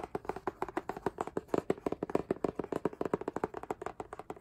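Fingertips and nails tap rapidly on the front of a book-sized, solid K-pop album with a rigid laminated cardboard hardcover and a printed photo-collage front. About thirty short, dry taps come in a quick, uneven rhythm, each with a hollow, mid-toned knock around 400 Hz that dies away almost instantly.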